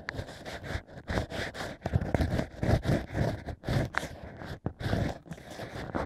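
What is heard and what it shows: A bamboo ear pick scrapes inside the drilled hole of a stack of natural cork wine corks while fingers steady the cork. Soft, dry scratching and rustling comes in short repeated bursts, mostly low and muffled with brief bright flecks. The strokes stop and start with quick pauses between them.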